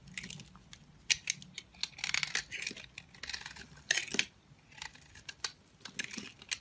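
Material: Soap.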